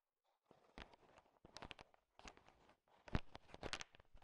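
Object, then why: Sugar-shelled chocolate candies. A thin wooden stick stirs a large pile of small, solid, sugar-shell-coated chocolate M&Ms candies, so the candies click and rattle against each other. The quiet, dry clicking comes in short clustered bursts separated by brief pauses, with each click dying away almost at once.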